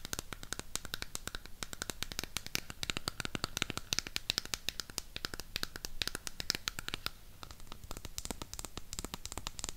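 Long pink acrylic nails tap and scratch the printed back side of a burgundy cardboard eyeshadow palette. A rapid, steady run of crisp, dry clicks with bright scratchy texture continues throughout, each tap dying away instantly with no ring.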